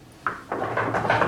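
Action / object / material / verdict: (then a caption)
knock / classroom desk / unknown / none. Someone knocks on a classroom desk five times in quick succession. The knocks are short, dull taps centered in the midrange, with little ring, and they grow slightly louder and closer together toward the end.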